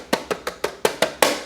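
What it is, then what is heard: Loose rattling plastic battery cover. Seven sharp, hollow plastic taps on the plastic battery cover on the down tube of a Bianchi EP-8 T-Tronik e-bike, each a quick mid-pitched clack with a slight rattle that dies away almost immediately. The cover is loose and rattles because its bottom fixing nut is missing.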